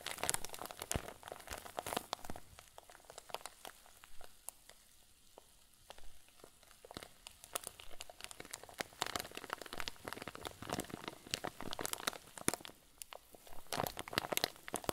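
A clear plastic zip bag full of white fluffy filling is squeezed and crumpled with both hands. It gives dense, bright crinkling and crackling with many short sharp snaps, easing to softer, sparser rustles in the middle before building back to busy crackles.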